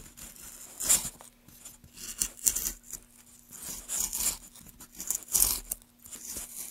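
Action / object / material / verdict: scrape / pale wooden block / wood / none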